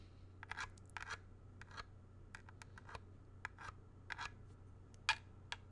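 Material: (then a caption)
Plastic. A small hollow grey plastic video game cartridge, ridged back facing up, is tapped and scratched with fingertips, nails and a thin tool. It makes a series of short, bright, dry clicks and scrapes with almost no ring, over a steady low hum.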